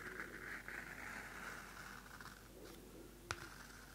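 The cardstock cover of a small pocket Field Notes paper notebook is scratched with long nails and its pages are flipped. A soft, steady scratching hiss with a mid-range rasp fills the first half, then thins out before a single sharp papery snap near the end. It is quiet and close throughout.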